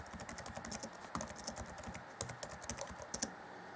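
Fingertips of both hands type on the black plastic chiclet keys of a grey Acer Chromebook C20 (2014) laptop keyboard deck. A quick, steady run of light, dry clicks and soft taps follows, with bright key-top clatter, a few sharper keystrokes standing out, and very short decay on each press.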